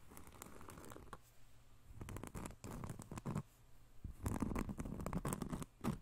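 A large, thin, round solid cork disc is held close up and scratched with fingernails. Dry, crackly scratching comes in bursts of rapid, uneven strokes with short pauses between them. The sound is soft, mostly low and dull, with brief bright clicks.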